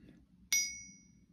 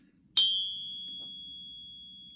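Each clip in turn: First: One light tap gives a bright, high ring with clean tones that hang on, as a real silver bar should. Second: One light tap sets off a high, thin ping near 3 kHz; the counterfeit silver bar rings oddly.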